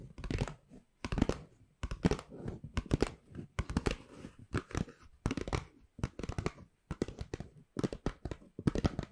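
Long pink nails and fingertips scratch and tap the surface of a hollow, empty-looking white Pandora paper shopping bag with black rope handles, held upright close to the microphone. Quick bursts of dry, crinkly papery scratching and tapping come in rapid clusters separated by short pauses, with a soft, full low end and little ring.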